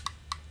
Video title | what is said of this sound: Oboe Repair 1 | you can hear that tapping sound so it's not quite closing when it should